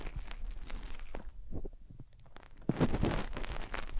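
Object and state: Silicone microphone ears being scratched.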